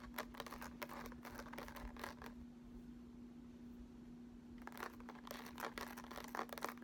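Fingertips and short nails scratch across the embossed front of a small, flat cardboard eyeshadow palette in the Urban Decay Naked style, with a raised sunburst pattern and lettering, held closed in both hands. Quick, dry, bright scratching bursts fill the first two seconds, fall to a quiet pause, then resume more densely toward the end. A faint steady low hum runs underneath throughout.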